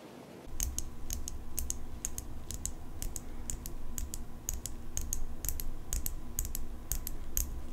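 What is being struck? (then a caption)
Steel folding pocket knife tapped with fingernails. Long pink acrylic nails tap and scratch the steel blade and metal handle of an open folding pocket knife. After a brief quiet start, a quick, steady series of sharp, bright clicks rings out over a low, constant hum, each tap dying away almost at once.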